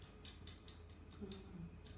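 Sugar paste peony and rose flowers are tapped, giving a series of light, bright clicks with a faint low hum underneath. The crisp, porcelain-like ticks show the paste has dried hard.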